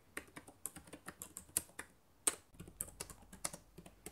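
Fingertips with long nails type on the plastic keys of a black laptop keyboard. About 19 quick, bright, dry clicks follow, with a brief pause near the middle. Each tap stops almost instantly, with no ring.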